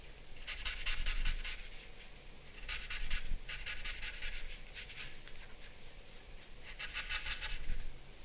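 A paper blending stump or charcoal pencil is rubbed and stroked over the face area of a drawing on a flat sheet of drawing paper. Bright, scratchy rubbing comes in rapid bursts of short strokes, separated by quieter pauses, over a steady low hum.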